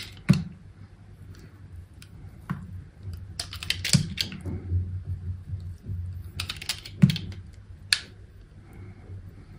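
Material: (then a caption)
Soap. A partly carved, hand-held chunk of pink and green solid bar soap, gripped by long pink nails, is cut and scraped with an orange utility knife blade. Sharp crisp snaps and dry scratching strokes ring out over a steady low hum, each cut dying away almost at once.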